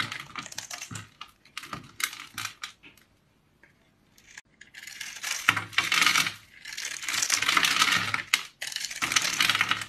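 A metal blade scores and cuts a hand-sized, solid, flat oval bar of pink dried soap with a scalloped blue rim, held in one hand, scraping off small cubes. Crisp, bright, crackly scratching comes in short rapid bursts, pauses briefly near the middle, then builds into denser, steadier scraping.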